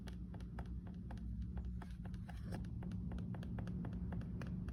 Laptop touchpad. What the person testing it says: Very annoying & irritating noise when single/double tapping the touch pad, especially when using it in a quiet environment.